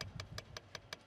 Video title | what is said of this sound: rescueDAYS 2012 - Bremen - Station "Gepanzerte Fahrzeuge" | schon vom Klopfen her. Hör mal, schon stabil.